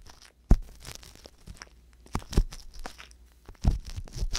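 A wooden ear pick with a metal tip, held in the fingertips, scratches inside the ear canal of the left silicone ear on a white binaural microphone. Soft crunchy, tearing scrapes come in uneven bursts with low rumbling thumps, the loudest landing near the start, the middle and toward the end.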